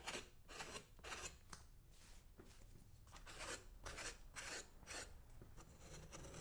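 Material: Leather.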